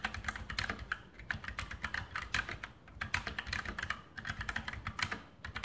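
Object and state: Mechanical keyboard typing.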